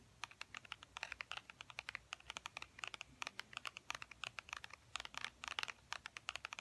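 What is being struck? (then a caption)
Faux leather wallet. A tan wallet with faux ostrich-textured leather is held in both hands and tapped rapidly with fingernails. About 48 quick, dry, bright clicks come in uneven bursts, each dying away almost instantly, over a quiet background.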